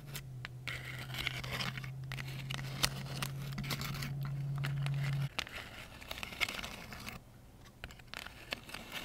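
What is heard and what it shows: Long acrylic nails scratch and rub along the ridges of a large lilac pleated paper fan decoration made of thin folded paper, held in both hands in front of the face. Dry, crinkly scratching and papery rustling come in uneven bursts, with a steady low hum underneath that cuts out about halfway through.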